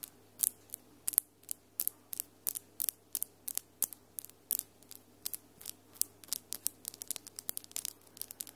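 Long almond-shaped acrylic nails with glitter polish, solid, tap and click against each other between both hands. About three dozen short, bright clicks with almost no ring come at a fairly even pace that grows denser toward the end, over a faint steady low hum.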